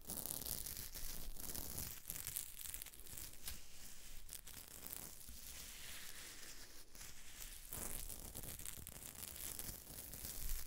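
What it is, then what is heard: Sequin fabric. Fingertips and nails scratch and rub across a silver sequined dress worn on the body, its sequins sewn onto flexible fabric, over the chest. The result is a steady, dense scratching and rustling with a bright, crinkly, tearing-like texture on top of a low rumble, swelling slightly in bursts throughout.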